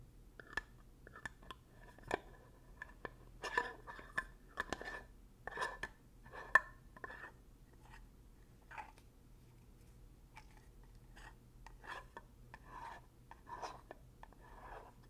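Fingernails scratch along the edge of a black ridged plastic lid on a full, medium glass coconut oil jar and twist it. The result is quiet, dry scratching and rasping broken by sharp ticking clicks, some with a brief glassy ring near 1.8 kHz. A faint steady low hum runs underneath.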